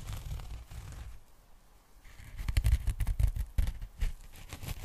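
Long nails scratch along the surface of a pink polyethylene foam packing bag held open as a sheet. Soft, dry rustling scratches dip quieter for a moment, then return as louder, irregular strokes with a dull, low body.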